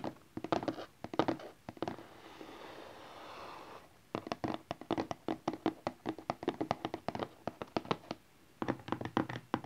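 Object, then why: Small rigid cardboard box. A small rigid cardboard smartphone box lies flat, front up, and is tapped rapidly with the fingertips and nails of both hands, giving quick hollow clicks and thuds. The taps come in fast bursts, broken in the early part by a softer, steady scratching rustle before the tapping resumes.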